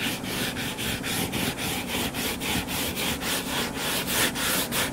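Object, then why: Closed hardcover book. Fingertips and nails scratch the cover of a closed hardcover book lying flat on a table. They make a steady run of quick, dry scratching strokes, about three to four per second, each a bright, hissy burst. A faint low rumble sits beneath the strokes.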